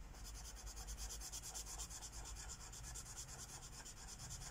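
A magenta Sharpie marker tip rubs back and forth across a flat paper page of a coloring book lying on a wooden table, filling in a petal. The result is a quiet, steady, bright scratchy hiss that swells and fades with each stroke, over a soft low rumble.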